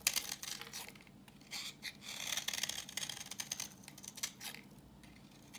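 A solid, translucent reddish-brown bar of dry vintage soap, held in the hand, is scraped with a utility knife blade, peeling off orange shavings. The blade gives a series of dry, crisp, bright scratching strokes with a high, hissy edge and almost no low end, coming in short uneven bursts with quiet gaps between them.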